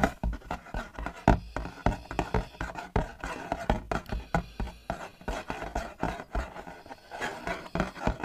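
Fingertips and nails tap rapidly and irregularly on the front face of a hollow, empty-looking printed cardboard box of Gelato sandwich ice cream (6-pack) held up in the air. Each tap is a short, dull, low-pitched knock with a faint papery click that dies away almost at once. The tapping runs steadily for about eight seconds.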